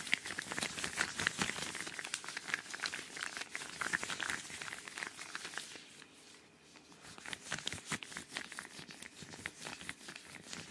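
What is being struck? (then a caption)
Thin rubber household gloves. Thin yellow rubber household gloves worn on both hands near a microphone are rubbed together and flexed, with one hand raised at the end. The result is dense, bright crinkling and squeaking with quick, sharp snaps that ease into a quieter stretch around the six-second mark before the rubbing picks up again.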